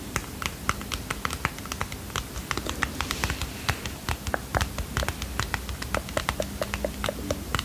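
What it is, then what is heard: Cardboard playing card box. Fingernails tap and scratch quickly on a small, closed red and white cardboard playing card box, likely holding cards. Dozens of short, dry, bright clicks come in an uneven stream, with light scratching between them. A steady low hum sits underneath.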